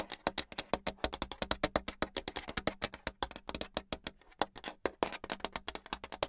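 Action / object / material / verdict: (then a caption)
tap / hardboard clipboard with metal clip / hardboard / none. Long pink acrylic nails tap fast on the surface of a flat, solid brown hardboard clipboard with a metal clip. About 46 sharp, dry clicks come in a quick, uneven stream over roughly six seconds. Each click is bright and dies almost at once, with little low end.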